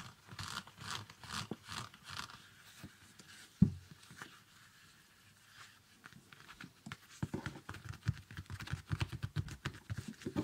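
Fingertips rub and scratch the fabric insole and upper of a small, empty, shiny metallic synthetic ballet flat. Soft, rhythmic, low scratchy rubbing strokes are broken by one sharp knock and a quiet pause. Faster, denser, brighter scratching follows.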